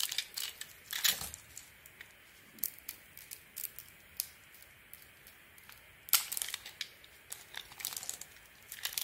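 A metal blade scrapes and cuts the gold glitter coating off a hand-sized solid soap bar with a white core, held in the palm, slicing it away in curls. The result is a rapid series of dry, crisp, crinkly scraping strokes, bright and high with almost no low end. Each stroke stops sharply, with quiet pauses between them.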